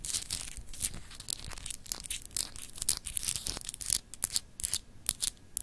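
Long acrylic nails scratch and tap across the etched surface of a palm-sized solid clear glass globe paperweight. The result is a dense run of bright, crinkly rasps broken by sharp, dry clicks that stop instantly with no ringing.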